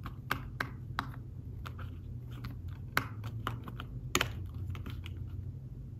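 Fingertips type and tap on a thin folio tablet keyboard with fabric-covered keys, making soft, quick clicks with short bright ticks and almost no ring. The keystrokes come in an uneven rhythm over a steady low hum.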